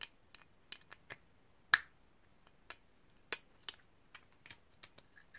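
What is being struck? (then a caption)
Small ridged brass grinder. A small, hollow, ridged brass herb grinder is held in the hands, tapped with long painted nails and turned. About ten quiet, bright clicks and taps come at an uneven pace, with two sharper, louder ones. One of these leaves a brief thin metallic ring, and the other taps die away almost at once.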